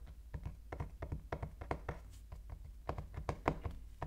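Fingertips knock and tap on the back of a small, sealed, dark-printed cardboard iPhone 13 Pro Max box lying on a wooden table, with both hands resting on it. The result is a quick, uneven series of soft, dull, low thunks with almost no ring and no bright edge.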